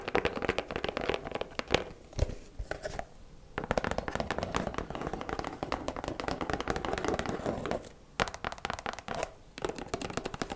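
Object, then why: Cardboard gift box. Long black nails tap quickly across the lid and sides of a hollow white cardboard gift box with a ribbon. The result is a dense run of short, dry, hollow clicks that briefly thin out around 2–3.5 seconds and again near 8 seconds.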